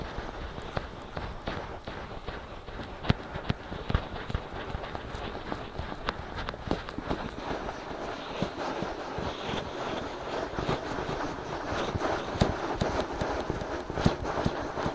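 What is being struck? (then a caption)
Silicone ears of a binaural microphone. Fingertips of both hands scratch and rub the soft silicone ears of a binaural microphone. The result is a steady, dense stream of crackly, rustling scratches with frequent sharp ticks and a low, muffled thumping underneath, at a fairly even level throughout.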